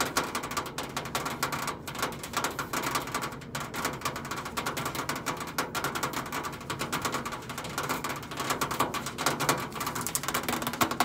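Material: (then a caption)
Stainless steel. Long acrylic nails tap rapidly near the top edge of a countertop microwave's side panel, a thin stainless steel sheet over a hollow body. The result is a dense, continuous stream of quick, bright clicking ticks with a faint metallic tone near 720 Hz and almost no ring after each tap.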